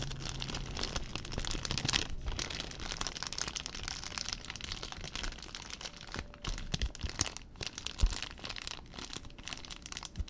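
A small, clear, thin plastic zip-lock bag, apparently empty, is held in both hands and crumpled and rubbed with the fingertips close to the microphone. It makes a steady stream of dense, bright crinkling and crackling for about ten seconds, with sharper snaps now and then and a faint low rumble underneath.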